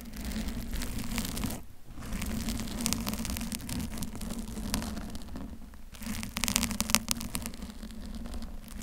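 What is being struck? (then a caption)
Foam microphone cover. Long acrylic nails on both hands scratch a soft, porous pink teddy-bear-shaped foam cover over a silver microphone, while a blue-covered mic beside it is left untouched. The result is a continuous, dense crackling and rustling texture with a steady low droning band underneath. It briefly drops away twice before returning, with brighter, sharper scratches toward the end.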